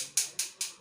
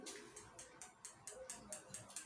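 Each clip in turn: First: non-metal struck on non-metal, dull and not ringing. Second: metal struck on metal ring, sonorous ringing.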